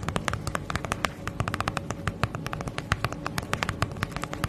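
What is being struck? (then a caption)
Padded plastic mailer bag. Long nails tap and scratch the surface of a flat holographic padded plastic bubble mailer held close in front of the mic. A quick, irregular run of sharp, crinkly taps and clicks rings bright, with brief scratching between them, over a soft low rumble.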